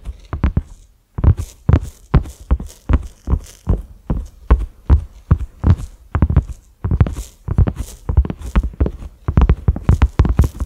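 A large, flat cream silicone pot lid with concentric ridges and a black center knob is tapped with the fingertips and short nails of both hands. Quick bursts of soft, dull, low thuds follow one another with a brief pause near the start, each dying away almost at once. Faint bright clicks from the nails ride on top.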